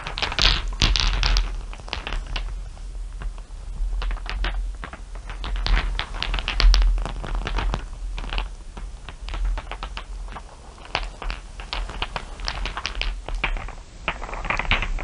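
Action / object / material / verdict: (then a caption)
tap / small glass marbles on fur / glass / none. Fingertips and long nails tap and sweep across many small solid glass marbles resting on fur. They make a steady stream of quick, bright clicks and soft clatters with short rings, over a constant low hum.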